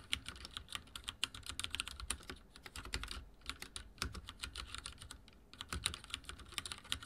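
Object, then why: Mechanical keyboard with plastic keycaps. Fingertips type fast on a backlit mechanical keyboard with dark plastic keycaps, producing a rapid stream of sharp, bright clicks and clacks with a soft low thump under each keystroke. The taps come in quick bursts with short pauses around 2.5, 3.3 and 5.4 seconds, and each click dies away almost instantly.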